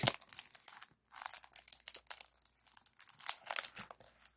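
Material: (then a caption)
Aluminum foil. Fingertips and nails scratch and squeeze a partly compressed, hollow silver aluminum foil flexible duct with a wire spiral, working over its ribbed foil. The result is a run of bright, dry crinkling and scratching bursts with little low end, broken by a brief silence just before the one-second mark.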